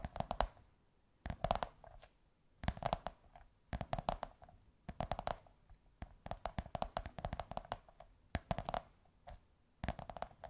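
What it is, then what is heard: Cardboard tube tapped with nails. Long white nails scratch and tap the top surface of a large beige kraft cardboard tube in quick clustered bursts, separated by short pauses. The taps are dry and short, with a hollow resonance around 720 Hz and a soft low thump, while the scratching adds faint bright rasp.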